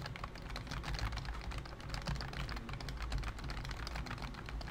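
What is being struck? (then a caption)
Plastic computer keyboard. Fingertips of both hands type quickly on a pink plastic full-size BT21 COOKY keyboard with round white keycaps and a hollow body. Rapid, overlapping key taps give bright clicks over a steady, hollow low thump that continues without pause.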